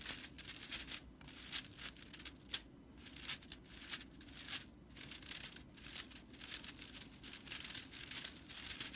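Long nails and fingers scratch and rake through the dry broomcorn straw bristles of a small whisk broom. The result is a quiet, bright, crackly rustle that comes in quick, uneven bursts with short pauses between them, and the sound stays steady in tone throughout.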